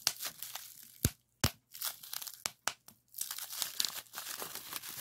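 Clear plastic bubble wrap with hollow bubbles is pinched into a small bunch and pressed flat with fingers. Bright crinkling and rustling are broken by several sharp, short pops as the bubbles burst.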